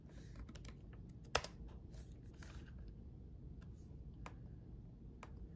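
Both hands type sparse keystrokes with their fingertips on a red-backlit laptop keyboard with plastic chiclet keys. Soft, quiet clicks with bright, short ticks come over a steady low rumble, and one keystroke stands out louder than the rest.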